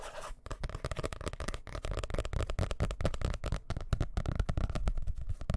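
Fingertips and nails quickly tap and scratch the dark blue cover of a solid, medium hardcover book held up near the microphone. The result is a dense, rapid run of short, dry, low thumps with very little ring, mixed with fainter scratchy texture.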